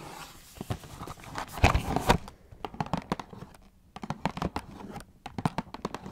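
Long nails scratch and tap on the face and top edge of a small, hollow Kellogg's Fruit Winders cardboard cereal box. A dense, papery scratching rises to a louder rasping burst, then gives way to a run of quick, dry, hollow taps with short gaps of near-silence between them.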